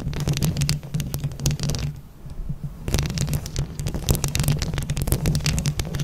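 Long acrylic nails on both hands scratch and tap rapidly over a round mesh microphone head covered in plastic flower buttons. The result is a dense, close, low rumbling scrape with sharp, bright clicks. There is a brief quieter lull in the middle before the tapping and scratching pick up again.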